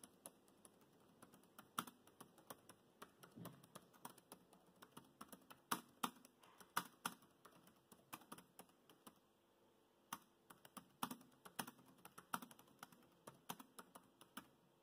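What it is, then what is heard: Plastic laptop keyboard being typed on. Fingertips of both hands rapidly tap the black plastic chiclet keys of a grey laptop keyboard. The result is a steady stream of quiet, short, bright clicks and clacks with a few louder strikes and a brief pause about two-thirds of the way through.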